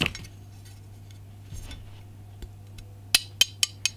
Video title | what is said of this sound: Amertac 90RVB Egg & Dart Aged Bronze Cast Wall Plate Unboxing | you can hear my rang tapping it it's uh it's made of metal it's not that cheap plastic